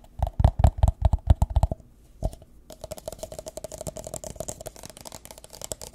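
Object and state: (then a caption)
Clear plastic cup. An empty, hollow, thin-walled clear plastic drinking cup, held close to the mic, is tapped and scratched along its side with fingertips and nails. A quick run of about nine deep, thumping taps with a hollow ring gives way to a pause and a single tap. Then comes a steady stream of lighter, rapid clicking and scratching with a bright, crinkly edge.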